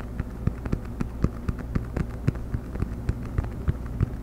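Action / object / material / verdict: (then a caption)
tap / cork coaster / cork / none. A round cork coaster is held edge-up near the camera and microphone and tapped and scratched with the fingernails. A quick, uneven series of dull, short taps with soft scratching sits over a steady low hum, the sound staying low and muffled with almost no brightness.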